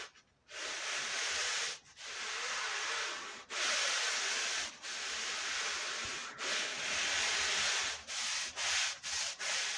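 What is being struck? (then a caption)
Wool pile rug scrubbed with a stiff push brush. A long-handled push brush scrubs a small woven wool Persian rug covered in white powder. It makes a bright, dry, scratchy hiss in long, steady strokes separated by brief pauses, and the strokes grow shorter and quicker toward the end.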